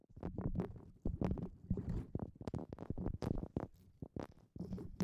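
A hollow, fibrous brown coconut shell half is held over the top of a microphone while long painted nails and fingertips rub and scratch its rough husk surface. The result is a dense run of close, muffled scratching and brushing bursts, heavy in low rumble with brief bright crackles.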